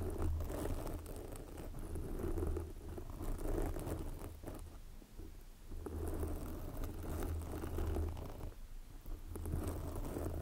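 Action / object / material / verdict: scrape / foam microphone windscreen / foam / none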